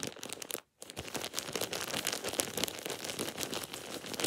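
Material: Plastic.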